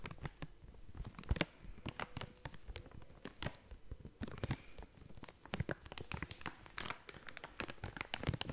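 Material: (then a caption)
Plastic foil. A blue and yellow plastic/foil snack bag is scratched and crinkled with long nails and fingertips. Quiet, rapid crackles and sharp scratchy ticks fire off in irregular bursts, with a low rustling body under bright, crisp clicks that stop almost instantly.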